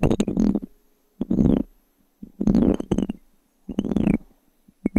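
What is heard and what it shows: A small, solid, light-wood blank cube die is held in one hand between two microphones and scratched with long fingernails across its faces and edges. Short bursts of dry, crisp scratching come in irregular clusters separated by brief silences, with a woody body and a bright upper edge.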